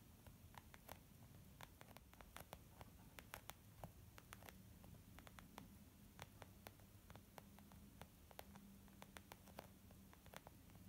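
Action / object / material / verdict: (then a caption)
tap / leather zip makeup bag / leather / none. Long nails and fingertips tap on a small white textured leather zip makeup bag lying flat, soft and hollow. Dozens of quick, quiet, bright clicks with almost no ring sit over a steady low hum and hiss.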